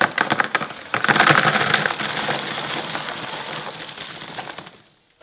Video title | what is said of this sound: This was a BIG improvement: Biochar Kiln | it sounds like glass it has that really nice